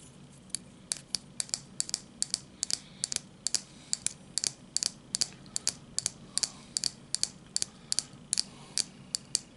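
Short fingernails tap and scratch along the edge and surface of a small, elongated piece of red translucent hard plastic, apparently solid, held in both hands. The result is a steady series of crisp, bright clicks that die away almost instantly, with a faint low hum underneath.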